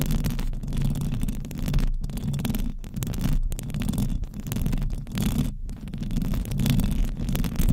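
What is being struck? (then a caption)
Metal mesh microphone grille. Long acrylic nails on both hands scratch continuously across the hollow metal mesh grille of a silver condenser microphone. The result is a dense, low, rumbling scrape that is heavy in the bass, with a faint brighter hiss and brief dips as the strokes change.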